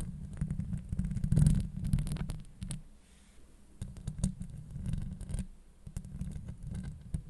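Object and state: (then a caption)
Metal mesh microphone grille. Long acrylic nails scratch across a hollow steel mesh microphone grille, giving a dense, low, rumbling scrape made of many quick strokes. The scratching swells loudest early on, eases to a quieter stretch in the middle, then picks back up in busy bursts with faint, bright clicks on top.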